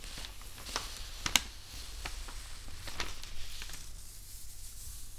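Hands rub thin newsprint sheets on a wooden table and fold a page over with the fingertips. A soft, bright rustling crinkle runs throughout, broken by a few sharper paper crackles, with a low hum underneath.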